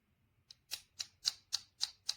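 The black back plate of a PGYTECH Beetle camera clip is tapped seven times with light, dry clicks that stop almost at once. The clicks are bright and high-pitched with no low body, and the plate sounds plasticky, identifying it as plastic rather than metal.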